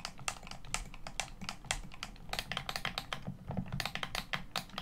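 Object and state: Plastic game controller.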